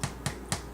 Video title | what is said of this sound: Episode 1, Part 1: French Bread | it sounds hollow